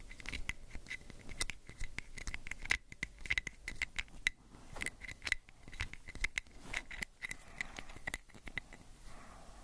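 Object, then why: Small plastic pill bottle with ridged cap. Fingernails scratch and rub the ridged white cap and the side of a small orange plastic prescription pill bottle held sideways. Dense, quick, dry clicking scratches with a bright edge and a faint steady ring near 2 kHz continue throughout, with louder sharp ticks scattered between softer rubbing.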